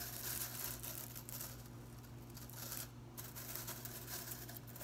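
A broom is held up with its blue plastic bristles hanging down while fingers and nails strum and rub the bristle ends. This makes a continuous, bright, dry crackling and scratching texture with soft rustling flicks, over a steady low hum.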